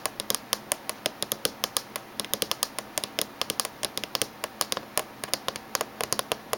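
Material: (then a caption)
Metal. Fingernails tap fast on the surface near the edge of a closed silver laptop with a hollow body, making about forty sharp, bright clicks in quick, uneven bursts. Each tap is dry and dies away almost at once, with almost no low end beneath it.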